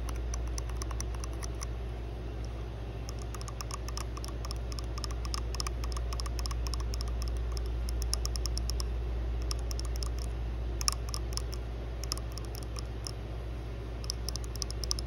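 Long blue nails tap and scratch the flat faces and USB port side of a small, solid white plastic USB wall charger resting on pink fabric. Quiet, fast, uneven bright clicks and scratchy ticks patter over a steady low hum, with a few slightly sharper taps standing out.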